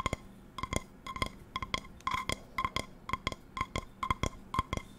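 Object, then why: Metal non-stick frying pan. An empty non-stick metal frying pan with a patterned steel base is tapped with long nails, turned and tapped close to the mic. Quick, irregular taps, often in pairs, give clicky, bright metallic pings around a 1 kHz tone that die away almost at once.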